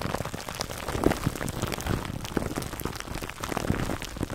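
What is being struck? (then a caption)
Plastic cling wrap over a foam microphone cover. Fingertips scratch clear cling film wrapped over a black foam microphone windscreen, producing a dense, continuous crackling crinkle. Many quick, dry clicks and rustles blur together, with a heavy low-end rumble and faint bright hiss. Nothing rings on after each scratch.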